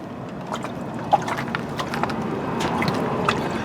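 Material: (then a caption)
Metal. Water sloshes and trickles inside a metal passenger-side car door as the door is moved, with faint watery splashes and gurgles over a low background rumble. The door is retaining water because its drainage holes or plugs are clogged, and it needs new drainage holes drilled.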